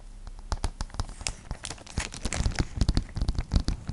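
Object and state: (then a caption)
Plastic sleeve over cardboard card, tapped and scratched. Long nails tap and scratch the front of a thin clear plastic sleeve holding a flat printed drawing card. An uneven series of quick crinkly taps and short scratchy strokes builds in density, each with a soft low thump and a brief bright crackle that dies almost instantly.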